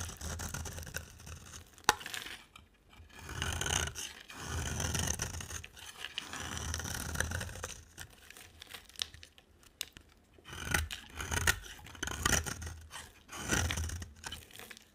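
A utility knife blade cuts ridges into a solid, dry, oval, light-green bar of soap and scrapes across it. The result is a run of gritty, rasping scrapes with crumbly, tearing bursts between short pauses, plus a sharp click near the start.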